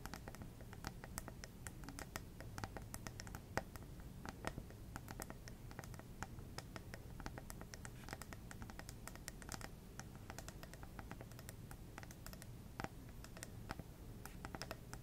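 Long red nails tap quickly and continuously on a small, lit plasma ball, a hollow glass globe on a black base. The result is a dense stream of soft, crisp clicks with short bright transients over a low rumble, each tap dying away almost instantly.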